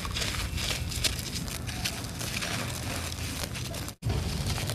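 Bare fingers squeeze and crumble a large, solid, dry clump of red laterite soil on a concrete floor as dust and grit fall away. A dense, steady crackling crunch with a low rumbling body and bright gritty hiss cuts to silence for a moment just before the end, then resumes.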